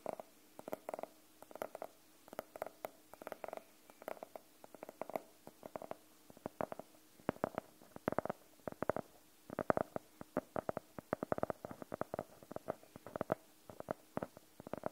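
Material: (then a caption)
Faux leather. Fingernails tap and scratch on the cover of a closed navy faux-leather hardcover notebook with white page edges. Dozens of dry, short, mid-pitched taps come in quick bursts and clusters over a quiet background, with faint scratching between them.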